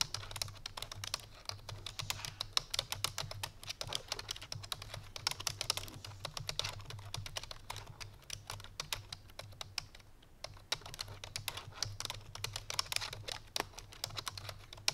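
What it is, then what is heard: Plastic computer keyboard. Fingertips with long painted nails rapidly press the keys of a full-size black plastic computer keyboard resting on a white fur rug. Fast, bright, clicky typing taps patter in a steady dense stream over a faint low hum, with a brief lull around the ten-second mark.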